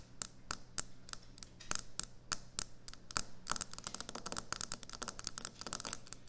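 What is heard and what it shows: Long nails tap and scratch rapidly on a solid white speckled quartz kitchen countertop. Sharp, bright clicks start out spaced apart, then quicken into a dense run of taps and brief scratches over a steady low hum. Each tap is quiet and dies away almost instantly.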